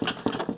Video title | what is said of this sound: Colorado xt pontoon modifications | it's solid like it does not does not flex it does not move